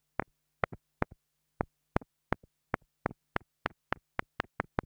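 A small black plastic mini lavalier microphone capsule, held between long-nailed fingers, is tapped repeatedly with the tip of a thin wooden stick. There are fifteen sharp, dry clicks, each followed by a softer rebound tap, over a faint steady low hum. The taps are short with bright upper content and almost no ring.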